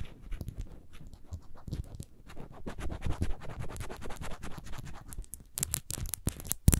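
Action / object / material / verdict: scrape / small faceted glass bottle / glass / none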